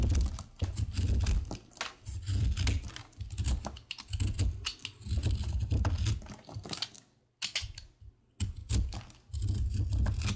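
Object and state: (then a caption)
Bar of soap being shaved. A solid pale green-blue bar of soap, held in the hand, is repeatedly shaved and scraped into curls with a utility knife blade. Rapid, crisp scraping strokes come in dense bursts with a heavy low rumble and bright, brittle edges, broken by two brief silences near the end.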